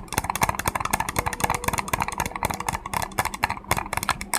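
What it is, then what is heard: Hollow plastic capsule. Fingertips and nails tap and scratch the surface of a small hollow cream plastic egg-shaped capsule with a center seam, held close to the microphone. A rapid, irregular run of sharp, dry clicks with scratchy, bright texture follows, each tap dying away almost instantly.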